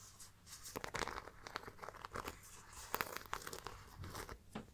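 Long dark nails tap and scratch across the studded front panel and perforated pattern of a small, hollow, round brown faux leather crossbody bag with metal studs. Quick, dry, close-up clicks and scrapes come in an uneven stream with a bright, crinkly edge, each dying away almost at once.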